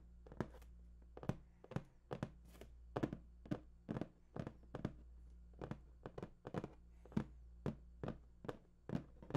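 Fingers tap and drum on the top of a large, hollow, printed cardboard PS4 box. A steady series of short, dull, hollow thunks sounds with a low body and quick decay, over a faint low hum.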